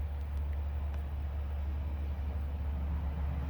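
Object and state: Nothing is struck.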